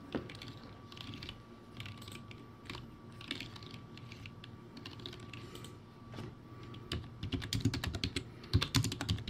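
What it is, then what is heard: Plastic typewriter-style keyboard. Fingertips type fast on a backlit, poor-quality plastic typewriter-style keyboard with round white plastic keycaps, producing a quick, uneven patter of short clacky clicks with a low thud to each press. A faint steady tone hums underneath for most of the clip, and the typing grows louder and sharper near the end.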